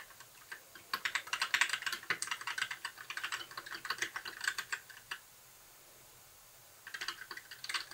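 Fingertips of both hands type steadily on a compact white mechanical keyboard with plastic keycaps and blue backlighting, resting on a desk. Quick, bright plastic clacks with very short decay come in a dense run for about four seconds, stop for nearly two seconds of quiet, then resume near the end.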